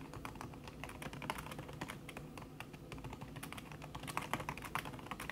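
Fast typing with fingertips and long red-painted nails on a thin backlit aluminium keyboard whose plastic keys sit under a red silicone skin. It makes a steady, dense stream of quick, soft tapping clicks with muffled low thuds and brighter nail ticks. Each tap fades almost instantly.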